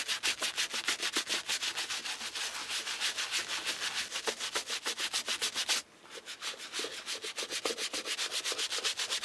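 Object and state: Leather shoe being brushed.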